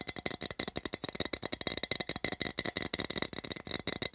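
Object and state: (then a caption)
Printed tin can tapped. Fingertips rapidly tap and drum on the side of a small, open, empty printed metal tin, held and turned in the hand, producing about 23 quick, hollow, tinny clicks. Each hit is short and bright, with a ringing tone near 2 kHz and very little low end.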